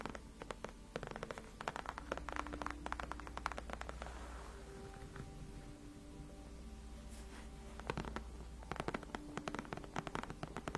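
Long acrylic nails on both hands scratch and tap across the large, cushioned white padded faux leather backrest of a gaming chair. Quiet, dense bursts of sharp clicks and brushing scratches come in clusters, easing into a softer stretch of smooth rubbing in the middle before the rapid tapping returns. A steady low hum sits underneath throughout.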